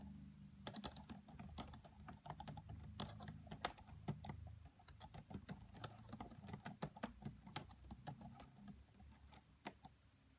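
Fingertips with medium-length nails type rapidly on the black plastic keys of a red laptop. The clip is a dense, quiet stream of short, crisp clicks with bright tops and no ring, over a low, steady hum.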